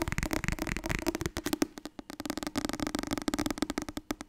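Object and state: Paperback book.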